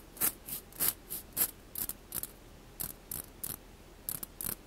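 A mesh skimmer ladle is tapped and scratched in quick, uneven strokes. Each stroke gives a short, bright, ratchet-like rasp over the mesh that stops almost at once, with a little low thump underneath.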